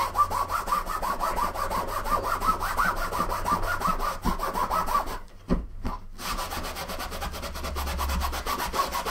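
A green microfiber cloth held in the hand rubs vigorously back and forth across the fabric top of a large, closed, soft-sided blue nylon suitcase, which is hollow and resting on a wooden table. The result is a fast, steady run of scratchy, swishing strokes with a midrange hiss centered near 1 kHz and a faint low rumble underneath. The rubbing briefly drops out around the middle of the clip, then resumes at the same quick pace.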